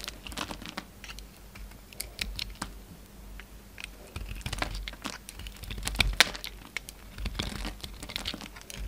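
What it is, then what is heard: Bar soap being shaved with a blade. A hand-held solid orange soap bar with remnants of a gold coating is shaved and cut into chunks with a utility knife blade. Quick, crisp scraping and cutting clicks and crinkly crumbles come in a dense, irregular stream, bright and dry with almost no ring. A sharper snap stands out about two-thirds of the way through.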